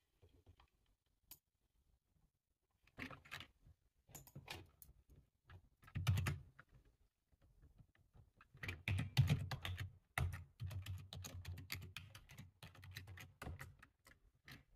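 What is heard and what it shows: Both hands type with their fingertips on a full-size dark plastic computer keyboard, producing soft, irregular clicking keystrokes with a low, dull thud beneath a light bright tick. The typing comes in short scattered bursts with quiet pauses early on, then grows denser and steadier in the second half.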